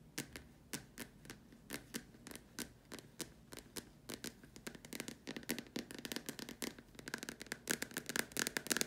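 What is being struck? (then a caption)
Plastic dome lamp shade. Long dark nails tap rapidly on the upper curved surface of a large, hollow white plastic dome lamp shade. The result is a stream of sharp, dry, bright clicks with almost no ring or low end, spaced out at first and then quickening into dense bursts toward the end.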